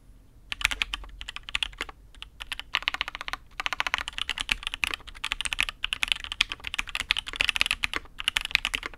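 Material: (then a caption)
Aluminium, ABS plastic. A custom Matrix 8xv 2.0 mechanical keyboard with INK Black switches, a dark aluminium case and black and red ABS keycaps is typed on by the fingertips of one hand. It gives rapid, bright, dry clacks centred around 2.5 kHz with very little low end, in quick bursts broken by short pauses.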